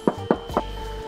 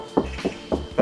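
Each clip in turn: First: untreated (undamped) steel car hood panel. Second: steel car hood panel damped by a sound-deadening pad.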